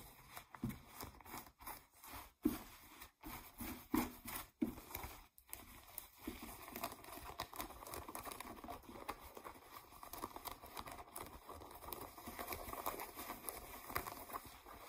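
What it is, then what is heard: Denim jeans being scratched. Fingernails scratch blue ripped denim jeans lying on a table. Quiet, rough scratching comes in short separate strokes with brief pauses for the first few seconds, then settles into a steady, continuous rasp of fabric.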